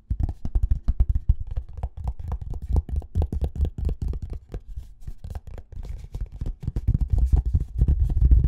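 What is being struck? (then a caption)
Small cardboard box. A small, hollow, rectangular white cardboard box is held in the hands close to the microphones and tapped with short fingernails and fingertips. The result is a quick, irregular stream of soft, hollow, low thuds that die away almost instantly. The tapping grows denser and a little louder toward the end.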